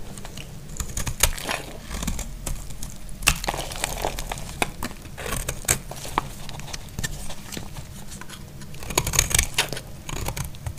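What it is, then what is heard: Dry bar soap being carved. A solid, dry white bar of soap held in the hand is carved and scraped with a utility knife blade. Dense, crisp scraping and crumbly crackling are broken by frequent sharp, bright clicks and snaps, each dying away almost instantly. A steady low hum runs underneath throughout.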